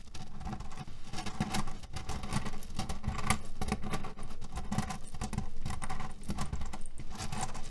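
Fingernails scratch and tap across a cherry pit pillow, a cotton fabric pillow filled with cherry stones. The result is a dense, steady patter of small rattling clicks and rustles with a heavy low body, continuing for the whole clip with only brief dips in loudness.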